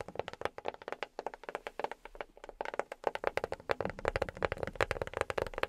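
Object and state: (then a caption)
Box tapped with rubber fingertip pads. A box is tapped rapidly with silicone rubber pads on the fingertips. The result is a quick, uneven run of short, soft, dry taps centered in the midrange, with a brief lull midway before the tapping resumes. Each tap dies away almost instantly.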